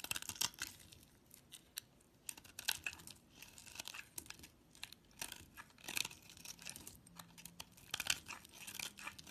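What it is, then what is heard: Cream soap bar being carved. A utility knife blade carves chunks from a solid cream bar soap held in the hand and scrapes off thin shavings. Bright, crisp scraping and crunching cuts come in short bursts with brief quiet gaps between them. Each cut is dry and dies away almost at once, with little low end.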